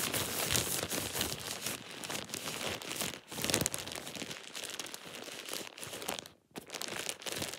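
A thin, empty plastic shower cap is held and crumpled in one hand, producing dense, bright crinkling and crackling that runs almost continuously. The sound dips into a brief near-silence around the six-and-a-half-second mark before the crinkling resumes.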